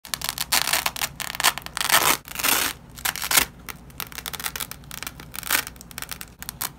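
A long strip of nylon hook-and-loop fastener, yellow loop side and white hook side, is held in black-gloved hands and peeled apart. It gives bright, crackly ripping and tearing sounds: quick short bursts mixed with a few longer, louder tears. There is almost no low end, and brief quiet gaps fall between the pulls.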